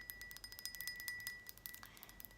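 Someone taps the lid of a decorative glass jar holding rings, giving a quick run of light, bright chiming clinks that ring only briefly. The taps come in a steady, rapid series with a louder final tap at the end, over quiet, mostly high-pitched tones and little low end.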